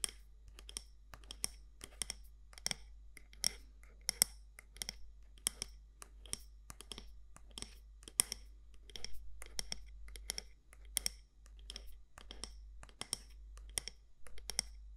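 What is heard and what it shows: Long nails tap the side walls of a medium matte black candle jar (glass or ceramic) with a gold lid. The result is a quick, irregular run of sharp, dry, bright clicks that stop almost instantly, over a steady low hum.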